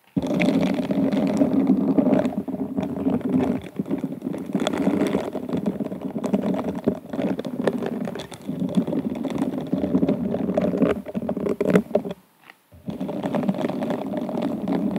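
Hands in pink silicone scrubber gloves rub and scratch the hobnail-textured glass bowl of a hollow, empty, upside-down stemmed wine glass held up with the bristled fingers. A dense, continuous scratchy rustling sits mostly in the low-mids, with many quick overlapping scrapes and little ring. It pauses briefly near the 12-second mark before resuming.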